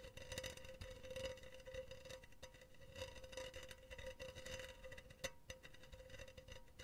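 Long teal fingernails tap and scratch a hollow, empty, silver wire-mesh cylindrical pen holder. Quiet, rapid clicks and raspy scrapes run throughout over a steady metallic ring near 527 Hz, with a sharper tap standing out near the end.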